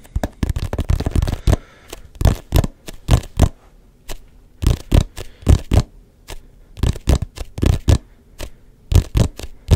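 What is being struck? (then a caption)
Hollow textured rubber ball. Fingertips tap a hand-sized, neon yellow-green hollow rubber ball with a textured, grooved surface. A quick flurry of taps gives way to spaced, irregular taps with short pauses. Each tap is a short, dull, low thud with almost no ring.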